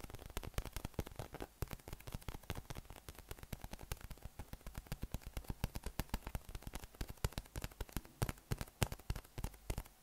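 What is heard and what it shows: Fingertips and thumbs tap and scratch over the nubs of a yellow, hollow, inflated PVC spiky massage ball held in both hands. The result is a rapid, dense stream of short, dull, hollow taps with a low body and almost no ring, mixed with a soft crackling scratch between hits.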